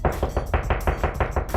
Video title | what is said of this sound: Home DIY - How to Hang a Wall Mount TV | the drywall won't bounce as much through there compared to the hollow spot